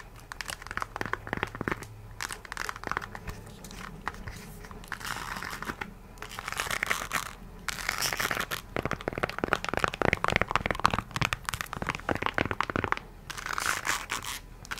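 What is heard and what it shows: Long nails scratch and tap across the brown patterned synthetic rubber sole of an empty nude heel. Dense, dry scratching rasps mix with quick, sharp taps that swell into louder, busier bursts, with brief quieter pauses between passes.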